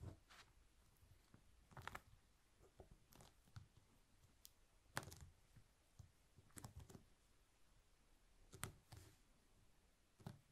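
Fingertips of both hands press and roll a long, thin rolled candle made of honeycomb beeswax sheet along its length on a white cloth over a wooden table. The result is a quiet, irregular series of short, sticky clicks and soft crackles, mostly low with occasional bright ticks. Each click stops almost at once, with no ringing between them.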